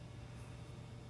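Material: Nothing is struck.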